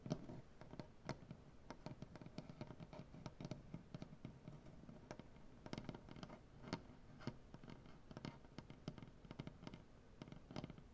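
Fingernail tips from both hands tap across a solid, light wooden butcher-block tabletop. Quick, irregular clicks with a dull woody low body and brief bright edges die away almost instantly, over a soft, quiet scratchy texture.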